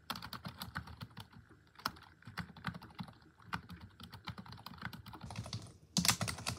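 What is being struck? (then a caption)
Plastic computer keyboard. Long acrylic nails and fingertips type on a black plastic computer keyboard, producing a rapid stream of short, crisp key taps with a low thud under bright clicks. A soft, high hiss rises near the end before a louder burst of taps.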